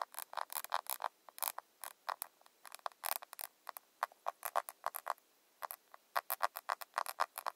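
A rounded square glossy plastic cushion foundation compact, held upright, is tapped on its lid with long nails. Quick, dry, clicky taps come in uneven bursts and single strokes, centered in the mids around 1 kHz with a bright edge and almost no low end. Each tap stops almost instantly with no ring.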